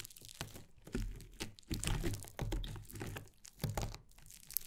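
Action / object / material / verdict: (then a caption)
scrape / foam slime lump / foam slime / none. Long painted nails and fingertips press, poke and scrunch a flat, soft but solid lump of yellow fluffy, grainy foam slime on a wooden table, kneading it. Dense, crisp crackles and crunchy pops are heard, with soft low thumps as the fingers push into the slime.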